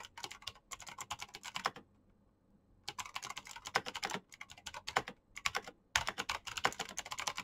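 Very fast fingertip typing with both hands on a black Razer mechanical keyboard with plastic keycaps and clicky green switches. Rapid bursts of sharp, bright clicks stop briefly for about a second, then resume in quick runs until the end.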